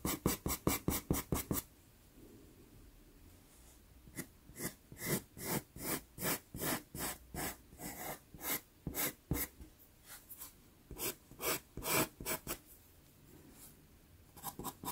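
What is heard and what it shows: A black pastel pencil shades with quick strokes across a small taped sienna Pastelmat card, making dry, broadband scratchy rasps. A fast burst of strokes opens the clip, a short quiet pause follows, then a steady, uneven run of about 22 distinct strokes runs through the middle before a few more at the end.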